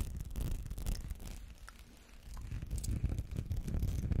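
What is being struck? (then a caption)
Small textured glass perfume bottle. Fingernails scratch over a small textured glass perfume bottle with amber liquid inside, held close to the mic. A dense, uneven scratchy rustle with a heavy low rumble fades slightly in the middle, then returns louder and rougher toward the end.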